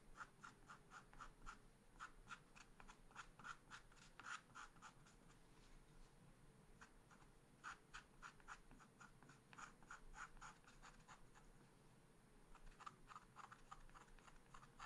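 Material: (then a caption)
Coated paper. A wooden stylus scratches quick strokes on the tail of a picture on a small black-coated scratch art paper card. Short, dry, raspy scrapes come at an uneven pace of roughly three to four a second, centred near 1.3 kHz with bright, high edges. The strokes thin out briefly around six and eleven seconds, and the whole clip stays quiet.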